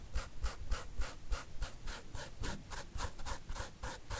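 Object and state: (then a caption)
Leather sneaker upper scratched with a fingernail. A fingernail repeatedly scratches the side panel of a white leather sneaker with a smooth upper and a gum rubber sole, held up hollow and empty in one hand. The result is a quick, steady run of dry, bright, raspy scratch strokes, about three or four per second, each with a faint low thump underneath.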